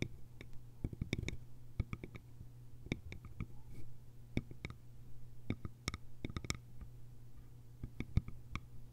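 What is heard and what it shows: Long nails tap the sides of a small, hollow, cylindrical bamboo container with a lid. The sound is a quiet run of short, dry clicks, each with a bright top and a hollow, woody knock underneath. A steady low hum sits beneath the taps.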